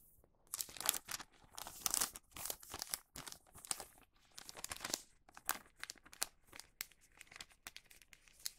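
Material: Wax paper.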